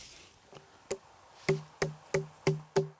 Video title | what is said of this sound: [역전의부자농부 359회] 연 2억 3천의 주인공, 여름 흑수박 | 맑은 소리가 나야 수박이 잘 익은 수박입니다. 맛도 좋고 당도 좋고